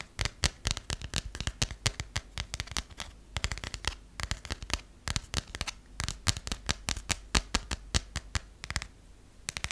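A closed passport with a textured coated cover and paper pages is held in the hand and tapped and scratched with long nails. Dense, rapid, sharp clicks and taps with brief scratchy rustles come in quick bursts throughout.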